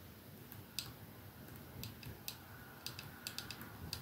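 Fingertips and nails of both hands slowly tap a capsule-shaped 212 perfume bottle lying on a dark surface; it has clear glass ends and a silver middle band and is hollow with liquid inside. About ten quiet, bright, short ticks sound at uneven intervals, each dying away quickly over a soft, low background hum.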